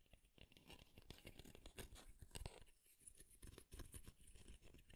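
Fingernails flick and scratch the teeth of a light wooden comb held close to the microphone. The result is a quiet, steady stream of rapid, dry crackling clicks and scrapes with bright edges over a close, low rumble.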